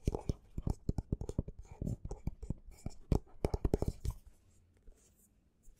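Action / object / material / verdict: scrape / paperback book with textured card cover / paper / none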